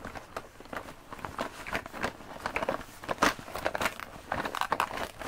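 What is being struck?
Coated fabric zip pouch.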